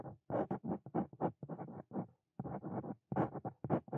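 A Brause Cito Fein metal dip pen nib scratches across a flat white paper notebook page in continuous writing strokes, with the hand and pen staying on the same page throughout. The result is a quiet run of short, dry scratching bursts that reach bright, with brief pauses between groups of strokes.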